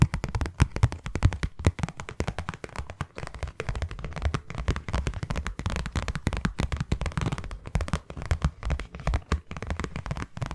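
Long nails tap quickly on a closed, hollow, hand-sized white cardboard box. The result is a rapid, continuous stream of dull, low, hollow taps with short clicky tops and almost no ring, lasting about ten seconds.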